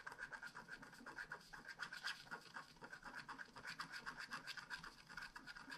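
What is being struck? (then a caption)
Wax-coated scratch art card scraped with a wooden stylus. A wooden stylus scratches densely in small strokes across a flat black scratch art card of wax-coated paper. The result is a quiet, steady run of short, dry rasping scrapes, about four per second, with a bright hiss and a raspy tone near 1.6 kHz.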